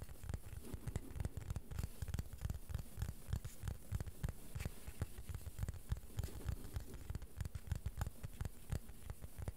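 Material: Plastic.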